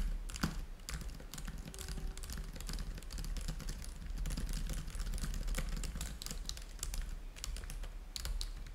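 Fingertips type steadily on a black plastic laptop keyboard. Rapid, overlapping key taps give short bright clicks that fade almost at once, over a constant low hum.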